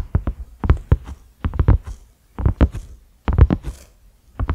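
Fingertips and nails of both hands slowly tap a cream silicone pot lid with concentric ridges and a black center knob. The result is deep, muffled thumps that die away almost instantly, arriving in short rapid clusters separated by brief quiet pauses, with faint scratchy brushing between some taps.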